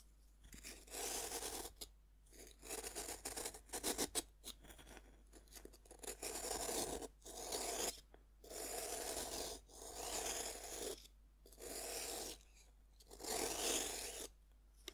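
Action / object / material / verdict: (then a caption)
scrape / pressed-powder bath bomb cut with a serrated metal knife / pressed powder / none. A serrated metal knife saws and scrapes through a partly cut, solid pink pressed-powder bath bomb held in one hand. Gritty, bright rasping strokes come in repeated bursts separated by short quiet gaps, with a dry crumbly texture and no ring.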